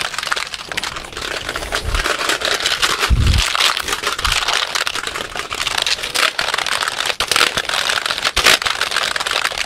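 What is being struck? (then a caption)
Plastic computer keyboard. A full-size black plastic computer keyboard is held up in both hands close to the microphone while fingertips rapidly tap and rattle its keys and shake it. The result is a dense, bright, crackling clatter of plastic clicks with no pauses. Occasional dull low thumps are heard near 2, 3 and 4 seconds.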